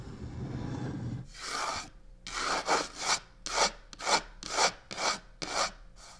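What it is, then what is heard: Faux leather covered box, scratched and tapped. Long nails quickly tap and rub the side of a hollow black croc-textured faux leather box resting on a table. After a second of low rumble, a steady run of short, bright, rasping scratch bursts follows, about two per second, each stopping sharply with a faint hollow tone underneath.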